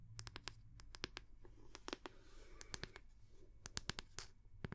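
Long manicured nails tap and scratch the back of the solid wooden head of a round, bamboo-like wooden paddle hair brush with a cord loop, held close to the mic. Quick, dry, bright clicks with almost no ring come in an irregular run, with soft scratchy rustling between them over a low, steady hum.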